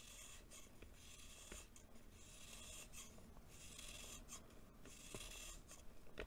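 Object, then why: Packed baking soda lump scraped with a knife. A green-bladed knife shaves the surface of a small, solid lump of compacted baking soda held in the palm. The result is a steady, dry rasping scrape with a bright, hissy texture over a low rumble, broken by a few sharp ticks as the blade catches.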